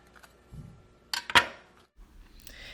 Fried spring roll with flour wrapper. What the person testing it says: even the wrapper is cracking, and you heard that crunch